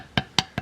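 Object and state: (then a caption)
Solid fish rib bone. A knife taps three times on the lower part of a fish's rib cage, giving short, hard, bright clicks that die away almost at once. The hard sound confirms the ribs are solid bone throughout.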